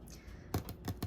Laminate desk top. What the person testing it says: it makes nice dense tapping sounds